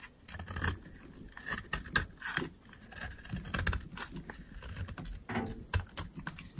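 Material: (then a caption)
Soap. A metal utility knife blade shaves the edge of a solid white oval bar of dry soap, giving a run of short, crisp scraping and crunching strokes with a soft low thud under each cut. Dry, crumbly flakes break away with a bright, gritty crackle.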